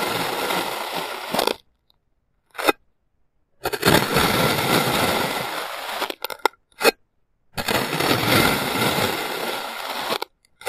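A clear plastic serrated knife slices and scoops a small, solid mound of blue kinetic sand on a white surface. Three long, grainy, crumbling cut-and-scrape strokes fill the full range from low rumble to bright hiss, separated by silent gaps with a few short, sharp ticks as the knife lifts and touches down.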